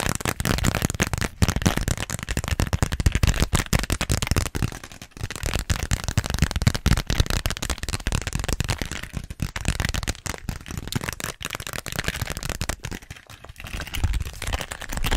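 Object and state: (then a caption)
Plastic zippered pouch. A small pink glossy plastic (vinyl) zippered pouch with a flamingo print is tapped and scratched with long nails. The result is a dense, rapid run of crackly taps and scrapes with a heavy low thump under bright rustling texture. It eases briefly around the five-second mark and again near thirteen seconds.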